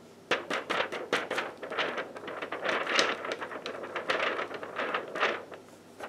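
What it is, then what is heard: Paper sheet being crinkled. A thin sheet of yellow paper is pressed and bent by fingertips in black lace gloves, creasing and rubbing against itself. The result is a quick run of crisp, dry crackles and rustles, bright with almost no low end, with short bursts that die away fast over a soft steady hiss.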